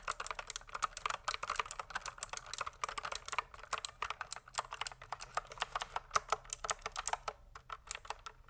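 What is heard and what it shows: Fingertips type continuously on a pink plastic mechanical keyboard. A rapid, uneven stream of short, dry, bright clacks fills the clip, each keystroke dying away almost instantly with a faint high tick on top and very little low end.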